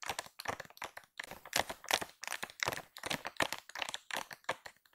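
A full, soft plastic-film pack of baby wipes, pink and white with a cow print, lies flat while long pink acrylic nails tap and scratch its top surface. Quick, irregular bursts of bright, crinkly taps and scratchy rustles follow one another with only brief pauses between them.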